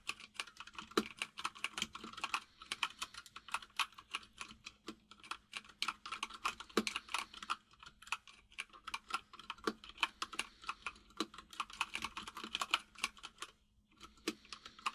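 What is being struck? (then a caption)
Plastic mechanical keyboard. Fingertips of both hands type steadily on a full-size mechanical keyboard with white and grey plastic keycaps and a hollow case. The result is rapid, bright, clacky key taps with a faint steady low hum underneath, and a brief pause near the end before typing resumes.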